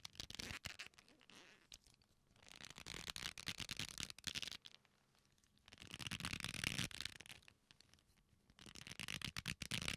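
A black leather belt, a flat solid strap folded into loops, is squeezed and rubbed with the fingertips, giving quiet, bright creaking and crackling. The sound comes in swelling waves separated by near-silent pauses.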